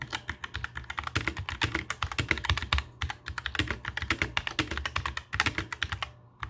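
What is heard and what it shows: Both hands type with their fingertips on a compact black mechanical keyboard with plastic keycaps resting on a table. The result is a rapid, steady run of short, bright clicks with a dull low thock under each keystroke. There is a brief pause near the middle and a quieter gap just before the end.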